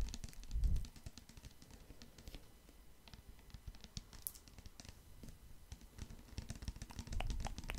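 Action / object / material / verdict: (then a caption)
tap / plastic pump bottle of liquid soap / plastic / none. Fingertips and nails tap on a medium-size clear plastic pump bottle full of red liquid soap. A steady run of quick, dry, light clicks plays throughout, with heavier low thumps near the start and again near the end.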